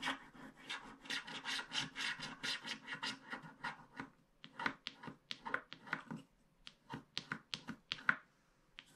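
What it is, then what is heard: Scratch art card being scraped. A wooden stick scrapes the black wax coating of a small, flat paper scratch art card in short strokes. Quick, steady runs of dry, bright rasping fill the first four seconds. Sparser, sharper scratches follow, separated by brief silences.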